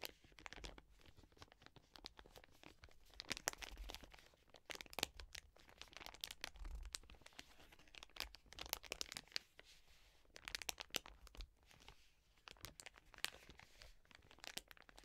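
A full, soft plastic wet wipes pack stands upright while long nails scratch its film and hands squeeze and crinkle it. The result is dense, bright crackling and crinkling with sharp scratchy ticks and brief tearing-like rasps, all at a quiet level with almost no low end.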